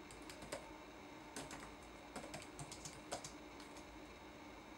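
Fingertips press the plastic keycaps of a red-backlit laptop keyboard, producing a quiet, irregular run of light, crisp typing taps with bright clicky edges. The taps sit over a faint, steady background hiss.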